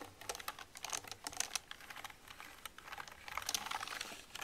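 A soft makeup brush with a metal ferrule is brushed and dabbed over the keys of a black plastic computer keyboard while the other hand rests on it, rubbing and rattling the keys. Quick, dry, bright ticks and clicks come in dense flurries with faint brushing hiss between them, with almost no low end and no ring.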